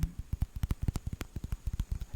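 A round orange pumpkin is tapped in a quick, uneven series of soft, dull, low thumps. Each tap dies away almost at once, leaving no ring.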